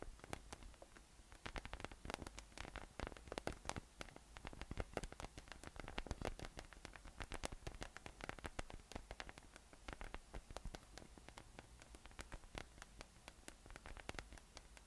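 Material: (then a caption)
PVC plastic. A yellow, hollow, inflated PVC spiky massage ball with nubs rests on a table and is tapped and scratched on top with fingertips for the whole clip. The result is a quiet, dense stream of quick, dry, clicky taps and scratchy rustles that die away almost instantly, over a steady low hum.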